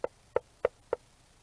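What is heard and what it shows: Four sharp knocks on the hard, plated shell of a yellow-bellied slider turtle, resting on a document camera, where the shell is fused to the rib cage and backbone. Each knock is short and dry with a hollow, woody tone centered around 500 Hz and almost no ring, spaced about 0.3 seconds apart, loud enough to sound like knocking at a door.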